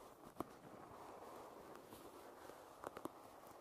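Long red nails tap and scratch the wooden handle and back of a wooden hairbrush. A few short, dry taps stand out, one early and a small cluster near the end, over a quiet, steady scratching hiss.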